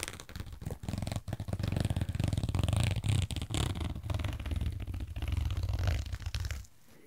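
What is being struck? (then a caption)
Soft fabric waist bag. Fingers and nails rub, squeeze and scratch a medium pink and rainbow-striped pastel soft fabric fanny pack, a hollow waist bag that looks empty. The result is close, continuous rustling and scratching, heavy in low muffled thumps with soft brighter crackle. It fades to near silence in the last half second.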